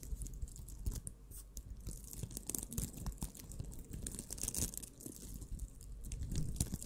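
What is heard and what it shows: A small, puffy purple scrubber of soft, squishable crocheted nylon mesh is held in both hands right against a microphone while long manicured nails and fingertips scratch and squeeze it. A steady stream of dense, crunchy, crinkly scratches sits over a low, close-up rumble, with bright hiss on each stroke.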